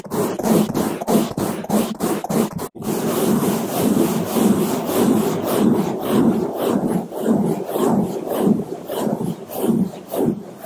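Two bamboo toothbrushes held in black-gloved hands brush quickly over a large black foam microphone windscreen with a cartoon eye overlay. The bristles make dense, rhythmic scrubbing and rubbing strokes, muffled and centered low in the range, with a brief drop to silence early on before the steady back-and-forth brushing resumes and continues to the end.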